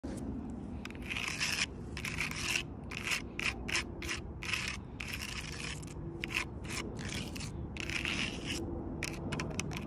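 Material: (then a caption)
Bark. Long purple acrylic nails scratch and tap the rough, ridged bark of a large, solid fallen log outdoors. Short bursts of bright, dry rasping and scraping come in quick strokes, with brief gaps between them. A steady low rumble runs underneath throughout.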